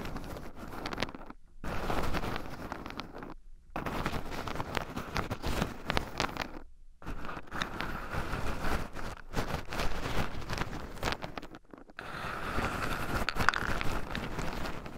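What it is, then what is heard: Raw pine nuts stirred in a wooden bowl. Two wooden chopsticks stir and poke through a small wooden bowl heaped full of raw shelled pine nuts, with two black microphones buried in the pile so the nuts also rub against them. The result is a continuous close-up scratching, rustling and crunching, with several brief silent pauses between bursts of stirring.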